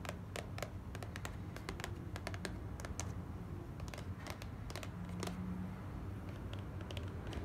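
Long black nails tap and scratch a small, closed white cardboard gift box resting on a fabric surface. Quick, dry clicks and brief bright scrapes come in irregular bursts over a steady low rumble, each tap dying away almost instantly.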